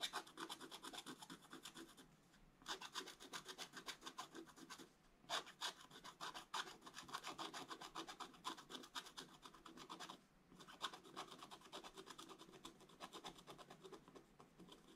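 A wooden stylus scratches across the black coated scratch-art paper page of an open book, working on the right figure. It makes dense, bright raspy scratching in rapid strokes, broken by three short pauses.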